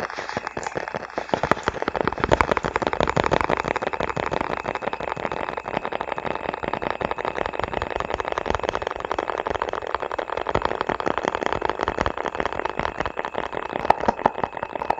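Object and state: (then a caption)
Hollow plastic container tapped and scratched. A small, hollow, round red plastic container or lid is held in gloved hands close to the microphone and tapped and scratched with the fingertips. Rapid, dense clicks and taps blend with a steady scratchy rustle, hollow and midrange-focused around 800 Hz, continuing at an even level throughout.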